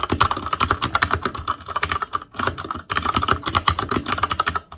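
Fingertips of both hands type continuously on an ASUS ROG Claymore Core mechanical keyboard with Cherry MX Red switches, black plastic keycaps on a metal frame, and a hollow RGB-backlit housing. The result is a rapid stream of short, dry plastic taps with a hollow midrange tone around 1.2 kHz and a soft low thump. Each tap dies away almost instantly, with brief lulls near 2.4 and 2.9 seconds.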